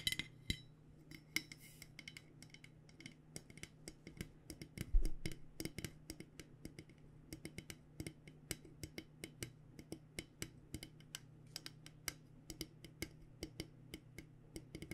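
Long nails tap over and over on a purple-coated insulated stainless steel water bottle with a bare steel base, held tilted. Dozens of quick, light, bright clicks and faint metallic tinks die away almost at once over a steady low hum, with one slightly louder knock near the middle.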